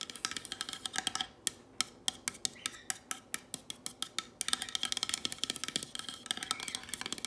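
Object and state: Painted wooden sign tapped with nails.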